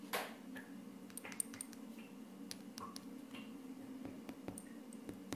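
A flat wood-grain laminate tabletop is tapped and scratched by short purple-painted fingernails and fingertips of both hands. The result is a quiet run of crisp, bright clicks and short scratchy strokes with almost no ring, over a steady low hum.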